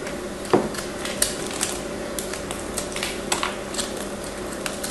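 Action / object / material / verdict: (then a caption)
scrape / bar of soap / soap / none. A craft knife carves and scrapes a hand-sized chunk of solid blue and white marbled bar soap held by long nails. The sound is a run of short, crisp scrapes and clicks, with one stronger bite near the start, over a steady low background hum. Each cut is bright and dies away almost instantly.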